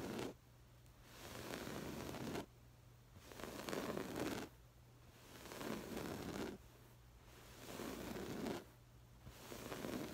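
Long pale-green acrylic nails on both hands scratch across a stuffed cushion covered in textured, woven, jacquard-like fabric with a floral pattern. Dry, raspy scratching swells in repeated bursts about every two seconds, separated by quiet pauses with a low hum underneath.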